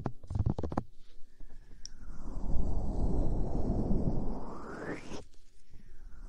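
A soft, stuffed square throw pillow with a cartoon print is held in front of a binaural mic while fingertips and nails tap and scratch its fabric surface. A quick run of about five dull, low taps gives way to a long, continuous scratching rub that swells, rises in pitch and cuts off sharply. Faint soft rustling follows.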